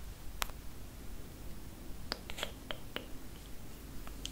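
Long acrylic nails tap and scratch the glass touchscreen of a large, solid iPad tablet lying flat on a table. Sharp, dry clicks with bright ticks ring out at uneven intervals over a steady low hum.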